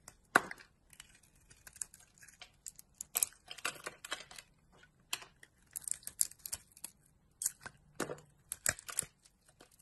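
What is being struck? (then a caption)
Bar of soap cut with a knife blade. A utility knife blade scrapes chunks off a solid rectangular soap bar, black and ridged outside and orange inside, held in the palm. Quiet, crisp scraping and crumbly tearing sounds come in short bright bursts, with a sharp cut near the start. The cuts stop abruptly, leaving brief pauses between strokes.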